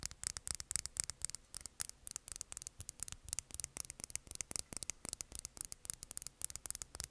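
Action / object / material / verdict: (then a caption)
tap / small plastic lip gloss tube / plastic / none. Long nails tap and scratch a small, clear, filled plastic lip gloss tube held upright. The result is a quick, uneven run of dry, clicky taps with short scratchy rubs between them. The sound is bright and crisp, each tick dying away almost instantly over a faint low hum.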